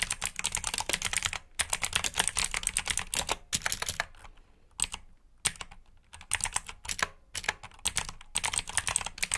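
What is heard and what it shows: A black mechanical keyboard with plastic keycaps sits on a mat as both hands type on it with their fingertips. Rapid, bright clicking keystrokes come in dense bursts, broken by short pauses and a sparser stretch in the middle.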